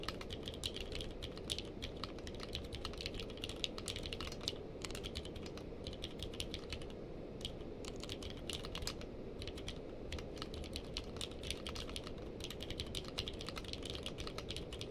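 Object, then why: Plastic-keycap mechanical keyboard. Two hands type with the fingertips on a purple-case mechanical keyboard with plastic keycaps. A steady, rapid stream of short, crisp key clacks with a bright click on top of a fuller low thud continues for the whole clip, each stroke dying away almost instantly.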